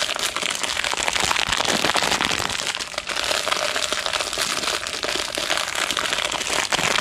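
Fingertips squeeze and crinkle the thin clear plastic wrap still on a roll of white tape, held close to the microphone. A dense, bright crackling runs steadily for about seven seconds, with quick, sharp rustles and almost no low end.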